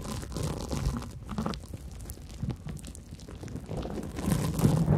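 A large, soft, light, porous yellow cellulose sponge is held over foam-covered microphones and scratched and squeezed with long nails and fingertips. It makes low, muffled crunching and squishing with soft scratchy bursts that swell again near the end.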